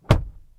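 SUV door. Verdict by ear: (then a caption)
Solid. A 2023 Lincoln Navigator SUV door is closed and heard from inside the cabin, making a single dense, low thunk that dies away quickly. The close sounds solid, like a well-built door.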